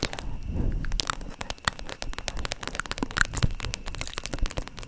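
Long nails tap and scratch the surface of a hollow, holographic PVC/vinyl zip makeup pouch, about 20 cm, held upright near the mic with its contents unseen. Quick, sharp clicks and crinkly scratches crackle continuously over a low, rumbling body. Each tap snaps off almost instantly.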